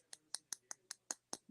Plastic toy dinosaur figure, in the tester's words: it sounds like glass something like that which means it's really Hollow